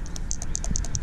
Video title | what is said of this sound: Replacing Fuel Filter on 2018 Grizzly 700 | when I shake it back and forth but that ball moves freely